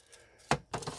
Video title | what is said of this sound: WEEKLY UPDATE #4, KNIVES I CARRIED THE WEEK OF 8/23/21 TO 8/29/21, EVERYDAY CARRY, EDC. | this one shakes a little bit